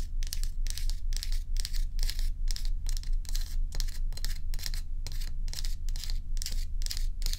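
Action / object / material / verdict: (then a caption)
scrape / ice block / ice / none. Long acrylic nails scratch and tap a large, solid ice dome block held at a tilt. Bright, crisp scraping strokes repeat in a steady rhythm, each ending in a short, dry stop, over a constant low hum.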